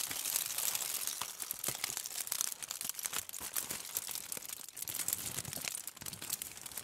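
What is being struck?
Crumpled sheet of aluminium foil.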